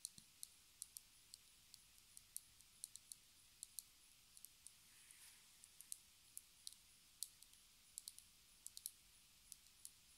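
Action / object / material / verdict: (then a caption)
tap / plastic lipstick tube tapped with fingernails / plastic / none. A small black plastic lipstick tube with a silver band, hollow and held in the fingers, is tapped with long red nails. About thirty quiet, bright, dry clicks come at an uneven, unhurried pace. A faint brief rustle sounds midway.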